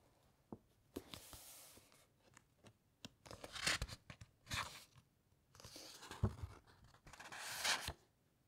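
Long nails scratch along the edges of the thick, uncoated paper pages of an open encyclopaedia and turn them, recorded up close. Soft, bright scratching and rustling build into louder, crisp crunching swishes as each page flips, with sharp taps and short pauses between.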